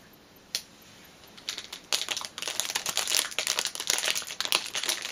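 A flat orange fitness band in a clear cellophane plastic sleeve is handled: hands smooth and crinkle the loose film, then long nails scratch its surface. After a single sharp crackle, the sound builds into dense, bright, crackling crinkles and scratches that fill the rest of the clip, with almost no low end.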